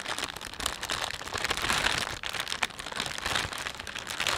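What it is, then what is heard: Thin plastic shopping bag being crinkled. A thin, empty plastic panda shopping bag is rubbed and stretched between thumbs and fingertips. It gives a steady, dense crinkle of bright, high crackles with little low end, swelling and easing with sharper pops scattered throughout.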